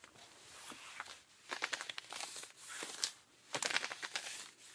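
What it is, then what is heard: Denim jeans being scratched. Pink rubber-gloved fingertips scratch and rub the thigh and back of worn, ripped blue cotton denim jeans worn softly over a leg. The result is a series of dry, bright scratching and rasping bursts, with irregular strokes swelling and fading and almost no low end.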